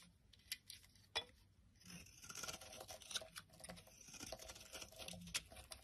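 A palm-sized solid yellow bar of soap, held in the hand, is shaved and scraped into flakes with a utility knife blade. Quiet, bright, crackly scraping runs throughout, broken by a few sharper clicks as the blade bites in.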